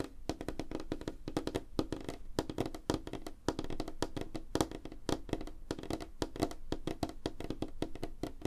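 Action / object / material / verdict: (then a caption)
tap / light wooden tabletop / wood / none. Both hands tap fast with their fingertips and nails on a flat, solid, light wooden tabletop. The result is a dense, steady stream of short, dry knocks with a woody mid-low tone around 316 Hz. Each tap dies away almost instantly, with very little high-end brightness.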